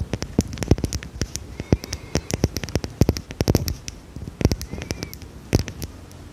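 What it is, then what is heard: Glass perfume bottle. A small, dark, square glass perfume bottle with a cap, held in the hand, is tapped and scratched with long red nails. Rapid, irregular sharp clicks with a dull low body and almost no ring come through, with soft scratching and faint brief squeaks between them.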